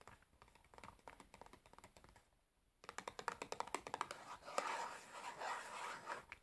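Long nails tap and scratch the sides and top of a large, closed cardboard matchbox full of matches, held in the hands. Quiet, dry clicking taps come first, then a brief near-silent pause. The tapping returns louder and denser, blending into a bright, rasping scratch toward the end.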